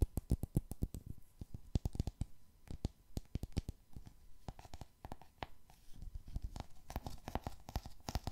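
Fingernails tap rapidly across the glossy cardboard cover and spine of a solid 'Rijmsoep' hardcover book. The result is a steady stream of short, dry, low taps that die away almost at once, with sharper clicks scattered throughout.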